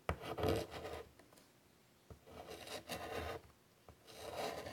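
White chalk drags across a large flat chalkboard in a wooden frame in short strokes, giving a soft, rasping scratch and rub. The strokes come in uneven bursts separated by quiet gaps, with a few small taps where the chalk meets the board.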